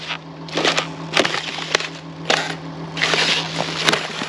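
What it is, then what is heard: Ice being crushed. Ice lying on a dirt road is crushed, giving a series of sharp, bright crunches and cracks that fade quickly. A steady low hum runs underneath throughout.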